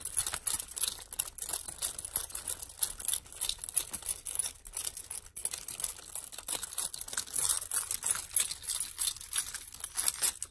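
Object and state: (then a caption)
Metal keys on a ring. A bunch of metal keys on a ring with plastic fobs and charms is held up by the ring and shaken, so the keys jangle against each other. The result is a continuous, irregular stream of bright, high metallic clinks and jingles with very short ring and almost no low end, lasting about ten seconds.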